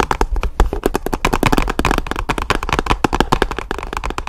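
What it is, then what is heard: Hollow cardboard box. A hollow black and orange paperboard product box is tapped and scratched with long nails in a rapid, continuous run of short, dry taps. Faint scraping runs between them over a steady low hum.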